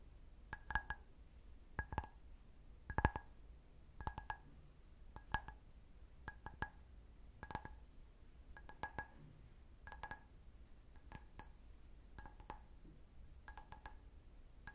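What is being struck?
Glass wine glass.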